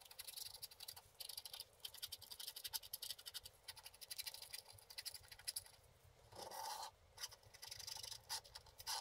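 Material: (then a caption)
Wax coating. A wooden stick scratches in strokes across a flat, wax-coated scratch art card held flat by the left hand. The result is quiet, bright, papery scratching in quick bursts, with one longer, steadier scrape near the end.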